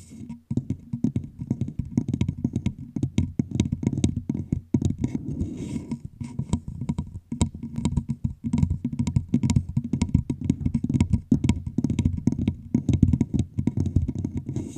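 Long pink nails tap and scratch rapidly on both sides of a clear, hollow plastic bottle with a red label held over the microphone. Dense, quick clicks and scrapes pile up over a deep, hollow low thump around 90 Hz, and the sound drops out briefly a few times.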